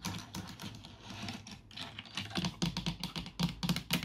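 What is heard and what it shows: Fingertips with long nails type and tap on the keys of a black plastic full-size computer keyboard with a hollow housing, resting on a wooden desk. Soft, rapid, uneven clicking with a low hollow thump under bright key clatter builds into sharper, louder taps in the second half.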